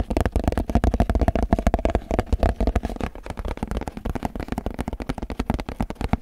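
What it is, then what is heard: Empty clear plastic food container. Fingertips tap and scratch the base and sides of an empty clear plastic food container that is held up and tilted. The result is a rapid, uneven run of dozens of short, dull, low thumps, each dying away almost instantly, with faint scratchy texture between them.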